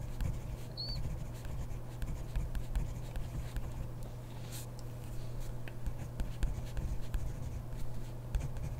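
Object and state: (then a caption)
Pen writing on a paper notebook page. A ballpoint pen is moved by hand across a grid paper notebook page, its tip scratching the paper in soft, uneven strokes. The quiet scratching sits over a steady low hum, with a brief high chirp near the start.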